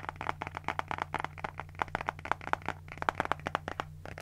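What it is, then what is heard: Paper spiral notebook. A small pink spiral notebook with a cardboard cover and paper pages is scratched with nails while its pages are flipped. This makes a rapid, uneven series of short, dry, crackly scratches and papery flicks centered around the midrange near 880 Hz. A steady low hum sits underneath.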